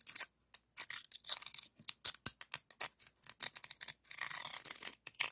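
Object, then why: Scallop shell rubbed against another shell. A scallop shell held in the fingertips is scraped and rubbed over the ribbed surface of a hollow pink ribbed scallop shell. The result is a quick series of crisp, bright scratching bursts with short pauses between them, no low end, and almost no ring after each stroke. It ends in a longer, denser rasping rub.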